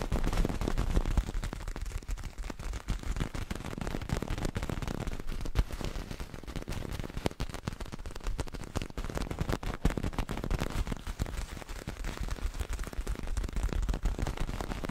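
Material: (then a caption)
Fabric. A small, soft, multicolored cloth juggling ball, likely filled with beans or sand, is held in one hand right next to the mic while fingertips and nails scratch and squeeze it. The result is a dense, continuous crackling rustle with a deep, muffled low-end thump and very little bright content, steady throughout the clip.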